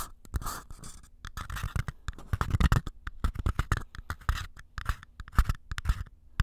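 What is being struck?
Small empty paper cups.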